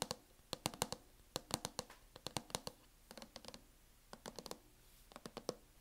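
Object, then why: Plastic laptop case. Long nails tap quickly on the lid of a closed laptop in a teal matte plastic hard-shell case, giving sharp, dry clicks in irregular clusters. Each tap is brief and bright, with a hollow knock around 500 Hz and almost no ring. About 28 taps are heard, with short pauses between the bursts.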